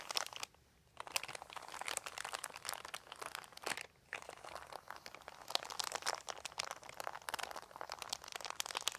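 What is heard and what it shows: Fingertips scratch and crinkle a large, thin, white crumpled plastic sheet, making dense, bright, crackling rustles with no low end. The crinkling runs almost continuously and pauses briefly twice, near the first second and around the four-second mark.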